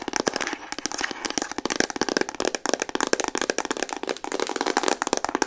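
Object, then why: Plastic instant camera body. Long painted nails tap fast on a pink Instax Mini plastic instant camera, hollow and hand-sized. The result is a dense run of sharp, dry clicks with a hollow mid-range knock and almost no low end. Each click dies away almost instantly.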